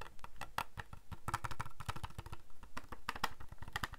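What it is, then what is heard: Plastic calculator back tapped. Fingertips and nails tap on the back of a small, hollow white plastic Casio scientific calculator. A steady run of quick, dry taps with hollow low thuds and a brighter clicky tick around 1 kHz, each dying away almost at once.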